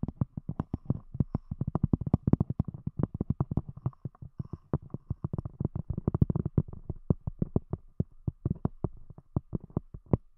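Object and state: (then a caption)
Cork disc tapped with fingernails. A round, thick, palm-sized solid cork disc capping a microphone is tapped with the long glossy fingernail tips of both hands. Dozens of quick, dry, low thuds follow in an uneven, rapid rhythm, with a faint clicky edge and no ring after each tap.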